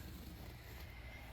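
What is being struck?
Nothing is struck.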